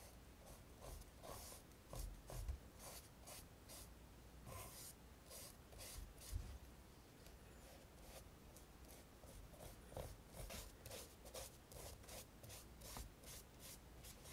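A flat synthetic paint brush rubs along the upper and heel of a hollow, black smooth-leather Dr. Martens derby shoe with a rubber sole, held in one hand on a wooden table, applying red and black paint. Soft, repeated bright brushing swishes come in quick strokes over a low, steady background hum, with a few slightly louder scrapes along the way.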